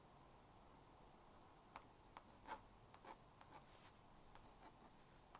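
A plastic magnetic stylus scratches lines across the screen of a small blue-and-pink plastic magnetic drawing board while finishing a drawing. After a quiet, hissy stretch, a series of short, dry scratchy strokes and ticks with a faint midrange tone and bright edges can be heard. The strokes fade quickly.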